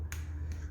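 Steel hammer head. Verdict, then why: Ringing. A Bellota steel hammer is struck twice against a hand and still rings, giving two short sharp taps over a steady low hum. This is normal: it is a "singing" hammer that rings even without hitting iron.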